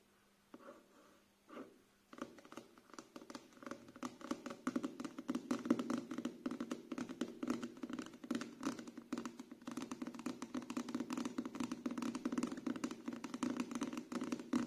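A closed paperback book with a glossy card cover, held in both hands, has its cover and edges tapped with fingertips and short nails. A few sparse, soft taps lead into a steady stream of rapid, dull clicks and light scratching, each dying away almost instantly. The sound is quiet throughout, with a low-mid body around 240 Hz.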